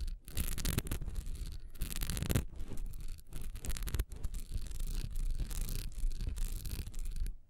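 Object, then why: Textured wax pillar candle. Long nails scratch fast across a solid, honeycomb-textured wax pillar candle lying on its side, working along its top edge. The result is a steady, dense rasp with bright, hissy texture over a low rumble, broken by brief pauses between bursts of scratching.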